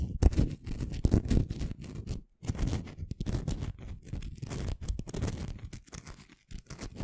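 A small, solid, rough-surfaced pink crystal stone is held in the fingers above a microphone and scratched and rubbed with long fingernails. The result is a run of dense, low-heavy scratching and crunching strokes with short quiet gaps between bursts.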